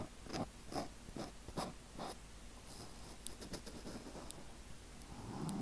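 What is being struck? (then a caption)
Foam microphone windscreen. Fingers and nails of both hands scratch over the surface of a small, soft black foam windscreen on a microphone. Quiet, irregular rasping strokes repeat quickly, with bright crackly flecks over a dull, rumbling low end that swells toward the close.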